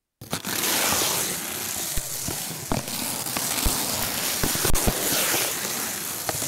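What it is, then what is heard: Steel wool scouring pad being squeezed and rubbed. A palm-sized, loose and springy ball of coiled stainless steel scrubber is squeezed and rubbed by fingertips over a sheet of paper covering the mic. The result is a dense, bright, steady crackling scrunch with sharp snaps scattered through it.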